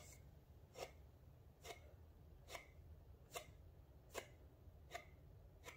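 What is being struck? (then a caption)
Small printed paperboard box. A small printed paperboard rosemary oil box is first held, then laid on a counter and rubbed and scratched with fingertips and nails. Six short, dry scratching strokes sound at a steady, unhurried pace, each a brief bright rasp that dies away almost at once, over a low, steady background rumble.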